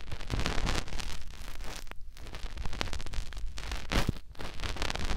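Fingertips rub the soft silicone outer ear of a white binaural microphone, producing close, continuous muffled rustling and scraping with a heavy low rumble and many quick soft brushes. The texture shifts in brief bursts with short dips between strokes.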